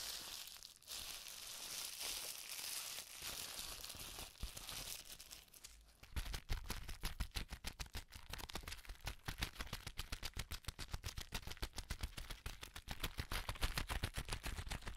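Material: Plastic.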